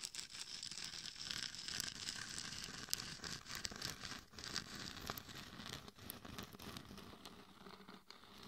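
Long nails scratch and tap the sides and lower jaw of a hollow, glitter-covered mannequin head microphone. The result is a dense, crackly, bright rustling and scraping texture, broken by sharp little taps at uneven intervals.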